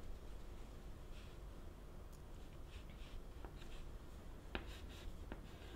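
White chalk held in the fingertips writes text on a wooden-framed black chalkboard with a flat, solid panel. Soft, bright scratching strokes come in short bursts, with a few sharper ticks near the end, over a steady low hum.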